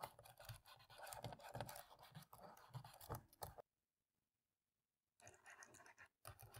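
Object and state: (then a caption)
Plastic laptop keyboard being scrubbed. A cotton swab scrubs the gaps between the black plastic keys on the left side of a dirty laptop keyboard, making dense, irregular scratchy rubbing with soft clicky ticks. The scrubbing stops for about a second and a half of silence, then resumes.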